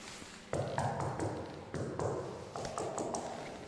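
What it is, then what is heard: Delaminated concrete floor screed. A spot on a concrete floor screed is tapped ten times, each knock giving a ringing, hollow-sounding thud with a low body and a brief ring-out. The ringing tone shows the screed here has delaminated and should be knocked off.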